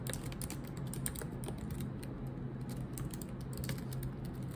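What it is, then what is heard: Laptop keyboard with plastic keys. Long pointed nails and fingertips type on a silver laptop keyboard with black plastic keycaps. The result is a steady stream of quick, light clicks and taps with bright ticking edges. A constant low hum sits underneath.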